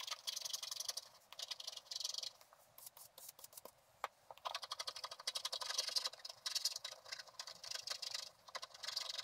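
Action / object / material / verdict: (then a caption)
scrape / scratch-art coated paper card scraped with a wooden stylus / coated paper / none. A wooden stylus scrapes lines into a flat scratch-art card, black coating over gold, while the other hand steadies the card. The result is bright, dry, rapid scratching in bursts, with almost no low end. A quieter stretch of sparse ticks falls in the middle before the scraping picks up again.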